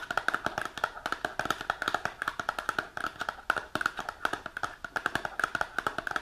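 Long nails rapidly tap the front face of a small printed cardboard supplement box held upright, making a fast stream of short, dry clicks with a papery midrange tone. Each tap dies out almost at once, with steady, uneven rhythms throughout.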